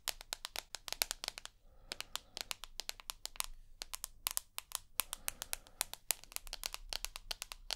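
Long nails tap and scratch the glass screen and edge of a rose gold iPhone with an aluminium body. The result is a rapid, uneven stream of dry, bright clicks with almost no ring. A faint low hum sits underneath.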